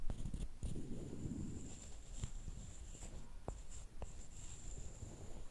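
A small solid wooden stick, held by fingertips with long painted nails, is scraped and tapped on a flat wooden slat. Soft low scraping fills the clip, broken by short sharp taps that die out almost instantly, while a faint high whine holds steady in the background.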